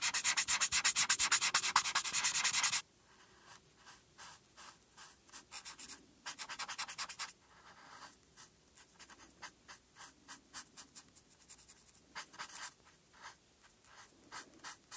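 A felt marker tip, held by fingertips with long painted nails, rubs back and forth on a flat paper coloring page resting on a dark board, filling in black stripes. A loud, dense, bright scratching runs for about three seconds, then drops to quieter quick strokes with a louder burst near the middle. Light, brisk scribbles continue to the end.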